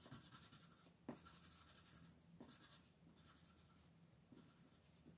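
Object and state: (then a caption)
Paper coloring page being shaded with pencil. A colored pencil shades the upper area of a flat paper coloring page lying on a table while the other hand holds the sheet. Quiet, bright scratchy rubbing comes in a series of uneven strokes, with a sharper tick just after one second. A faint steady low hum sits underneath throughout.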